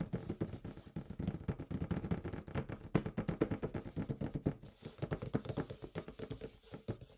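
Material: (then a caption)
Cardboard. A large, hollow, glossy printed cardboard Rajas of the Ganges board game box, likely full of components, lies flat on a white tablecloth while fingertips and nails tap and drum on its lid. The result is a quick, steady run of dull, low, hollow thumps with very short decay and little brightness, briefly easing off just before the five-second mark before resuming.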